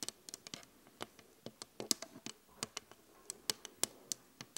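Both hands tap quickly on a large, flat glass vanity mirror with an LED frame, using long acrylic nails and fingertips. About nineteen quiet, sharp, bright clicks land in an uneven rhythm. Each one is dry and stops at once with no ring.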